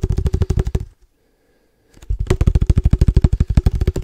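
A hollow black cylindrical padel ball can with a red logo and a metal lid is held upright and tapped quickly with the fingertips. The result is a rapid run of deep, hollow thuds with a faint ringing tone that pauses for about a second and then resumes at the same fast pace.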